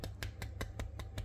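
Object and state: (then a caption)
Crisp baked crumble topping. A utensil cuts into the topping of an apple crumble fresh from the oven after baking at 180 °C for 35 minutes, making seven short, crisp crunching clicks at a steady pace over a constant low hum. The crunch shows the crumble topping is crisp and baked through.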